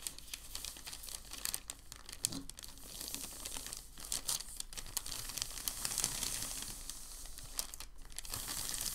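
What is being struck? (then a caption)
Thin packing paper sheet. Fingertips and palms press, fold and smooth a large, thin, white, crumpled packing paper sheet on a dark table. A dense, continuous stream of bright crinkling and crackling fills the clip, with a faint steady low hum underneath. The rustling grows slightly fuller in the second half.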